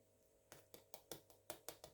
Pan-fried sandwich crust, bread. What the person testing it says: you can hear how crispy it is